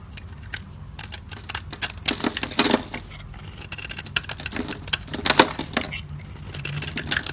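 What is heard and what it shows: A dry, solid white embossed soap bar held in the hand is shaved and carved with a metal utility blade, lifting off flaky curls. Many quick, crisp scraping and crackling strokes follow one another closely, bright and dry with almost no ring, over a faint low hum.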